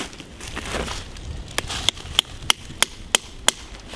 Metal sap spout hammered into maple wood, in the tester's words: It'll start going in, and you know when you're in snug. There'll actually be a different tone to the hit.